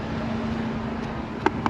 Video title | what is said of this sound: Our 2025 Spring Car Show🔥 | that's solid, bro. That's solid.